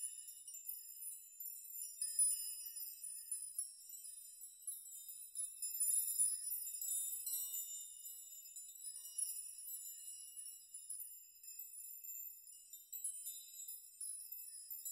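Fingers gently rock strands of hanging metal nails on a nail chime so they chime against each other. The result is a quiet, continuous high, bright tinkling with short, shimmering rings and almost no low end.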